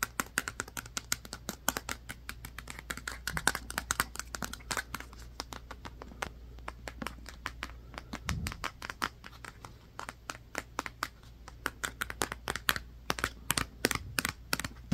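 A black hardcover book, held at an angle, is tapped and scratched by fingertips along its spine and cover edges. The result is a fast, dense series of short, dry, bright clicks and taps with soft scratching between them, over a steady low hum. A brief low thump comes just after the 8-second mark.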